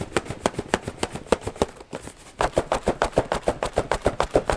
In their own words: Shake test. So there's a little room. I hear some sloshing. And I think I hear cans.